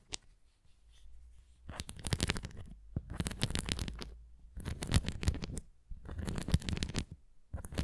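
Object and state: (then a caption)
Plastic flying disc scratched and tapped. A large, thin, translucent red plastic flying disc toy with raised nubs and a center dome, hollow and light, is held in both hands and scratched and tapped with long painted nails on its top face and rim. Bursts of dry scratching and quick taps come in clusters separated by brief pauses, with a soft low hollow rumble under crisp, bright edges.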